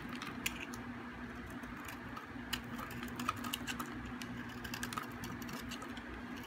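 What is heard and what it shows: A solid, hard, dry white bar of soap held in the hand is scraped with a metal utility blade, shaving off curls and flakes. A continuous, soft, gritty scraping carries scattered sharp, bright clicks and crackles, over a steady low hum.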